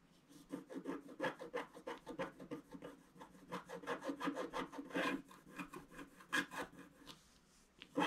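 A wooden stick scratches the black wax coating off a thin, flat scratch-art picture card lying on a table, clearing it around a ship and a tree. A quick, steady series of short, dry rasping strokes rises and falls in rhythm, with a louder, sharper scrape at the very end.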